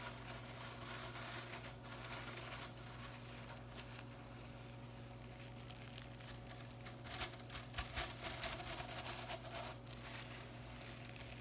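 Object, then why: Synthetic broom bristles. Fingers and nails flick and rake quickly through blue synthetic broom bristles held in the hands, producing a dense, bright crackling and scratching patter. The rustle swells into sharper, louder flicks near the end, over a steady low hum.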